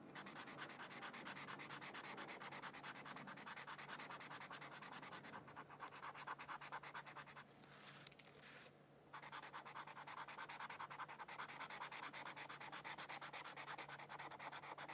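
A felt-tip marker, held by a hand with long nails, rubs back and forth across a thin white paper mandala coloring sheet lying on a book. The result is a steady, rapid, bright scratchy rubbing, with a brief pause and a few small clicks around the eight-second mark before the strokes resume.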